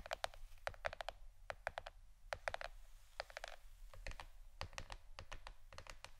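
A plastic board shaped like a shirt is tapped with the fingernails for ASMR. It gives a quick, irregular run of sharp, dry clicks that die away almost instantly, with a mid-pitched tone and bright edges over a steady low hum.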